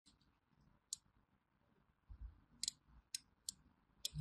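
A small thin metal blade scores diagonal grooves into a solid orange bar of hand soap held in the palm. Five sharp, bright clicks cut through a quiet, soft scratching and low rumble, each dying away almost instantly.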